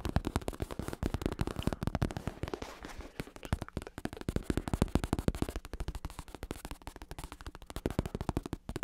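Fingertips tap rapidly and steadily on a black bicycle saddle held in one hand, with a smooth synthetic leather cover, red trim and a padded top over a plastic shell. The taps are short, dull, muffled thumps, mostly low with little brightness, coming in fast, uneven bursts that fill the clip without a break.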